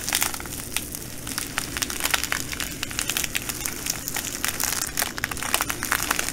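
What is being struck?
Plastic bag of glass bugle beads.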